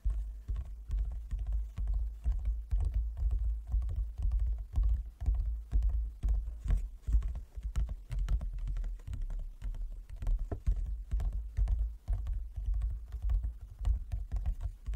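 Fingertips and nails of both hands tap rapidly on a large, closed, hollow wooden folding chess board. The taps land in an irregular, dense patter of low, hollow knocks that die away almost instantly, with a deep resonance underneath throughout.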